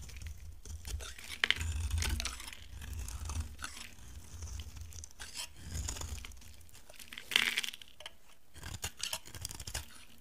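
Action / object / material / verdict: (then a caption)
scrape / bar of soap shaved with a blade / soap / none. A utility knife shaves a solid, dry, light orange bar of soap, and flakes fall away. Repeated crisp, crunchy scraping strokes tear through the soap, with a low rumble underneath and a few sharper, bright crackles standing out near the start and again around the seventh second.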